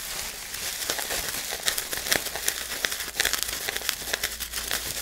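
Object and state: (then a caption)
Plastic bubble wrap. Fingers squeeze, crinkle and pop the bubbles on a large sheet of clear plastic bubble wrap held at chest height. A steady bright crinkling hiss is broken by a rapid, irregular series of sharp, short pops and crackles with almost no low end.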